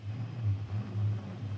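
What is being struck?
Nothing is struck.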